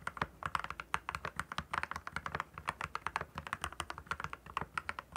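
Fingertips type continuously on a compact plastic mechanical keyboard with clear plastic keycaps. The result is a quick, steady stream of short, crisp clacks centered around 1 kHz. Each keystroke dies away almost instantly, with little low rumble.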